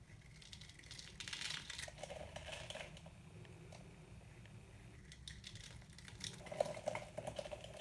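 A metal knife cuts and scrapes crumbling chunks off a white, hard, dry solid soap bar held in the hand, over a pile of soap powder. Dry, gritty crunching and crackling scrapes come in irregular bursts, loudest early on and again near the end, over a steady low hum.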